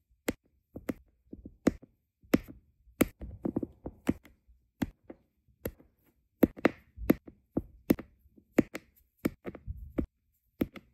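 A plastic drill pen with a metal tip repeatedly taps small, solid, round resin diamond-painting drills down onto a flat adhesive canvas. The result is a string of short, dry, clicking taps at an uneven pace, about one and a half per second, sometimes bunching into quick clusters. Each tap is crisp with a bright edge and stops almost at once with no ring.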